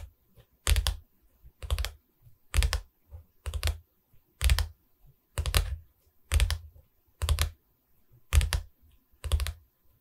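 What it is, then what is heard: Wooden canvas board. Tapping on a wooden canvas board makes short, dull knocks with deep low thumps and a brief bright click on top, with almost no ring. The taps come in about ten separate bursts at a loose, roughly one-second pace, with faint softer taps in between.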